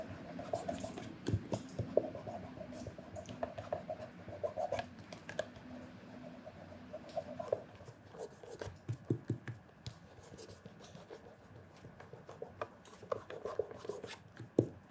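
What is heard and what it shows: Fingertips wrapped in a cloth rub in circles on the toe cap of a black, mirror-polished leather loafer held hollow in one hand. It produces a quiet, soft scratchy swishing with a steady low-mid tone and scattered faint ticks and taps throughout.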